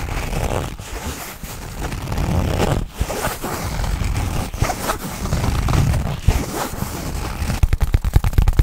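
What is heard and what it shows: A black nylon fabric bag held close to the microphone is handled and zipped with the fingers. Soft, continuous rustling and scraping is heard, ending in a quick run of sharp, dry zipper-like clicks.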